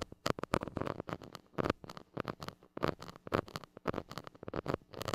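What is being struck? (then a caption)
Metal mesh microphone grille scratched with a plastic stick. A white plastic stick rubs and scratches the hollow metal mesh grille of a small gold mini microphone. The result is a rapid, uneven series of short, close scratchy bursts with a rough, mid-heavy texture and brief gaps between them.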